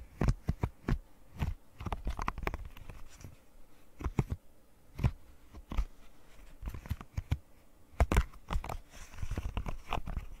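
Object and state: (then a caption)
Silicone pop-it fidget toy. A rainbow square silicone pop-it fidget toy has its bubbles scratched and tapped with long nails. The result is irregular bursts of short, dry clicks and soft muffled thumps with bright scratchy edges, separated by brief quiet gaps. Each tap dies away almost instantly, with no ring.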